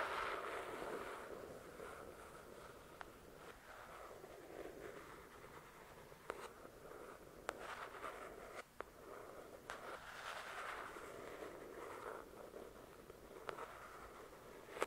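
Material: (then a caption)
Paper and card. Long nails slowly scratch and trace the glossy card cover of a paperback novel, The Shack, a solid paper book. A quiet, steady, papery scraping fills the mid range throughout, broken by seven brief sharp clicks.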